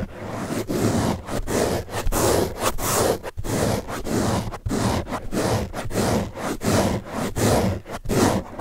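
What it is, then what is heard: Foam car sponge. Fingertips and nails scratch the top surface of a large blue open-cell foam car sponge, a soft porous block. About 14 dull, rustling scratch strokes come in an uneven rhythm, each a short burst of soft scraping noise that cuts off with almost no ring. The sound sits mostly in the low and middle range, with little brightness.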